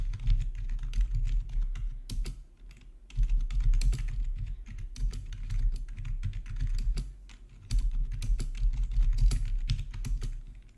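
Fingertips type steadily on a full-size black plastic RGB backlit gaming keyboard with a hollow housing, resting on a marble surface. Rapid, bright key clacks ride over a constant low hum. Brief quieter pauses occur around 2.5 and 7 seconds before the typing resumes.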